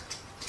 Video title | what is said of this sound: Little Gem In Big City (What Grows in Late Fall) | you can tell by kind of just tapping on them and they'll give that shaking like dry you can hear the seeds inside shaking